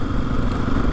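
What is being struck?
Nothing is struck.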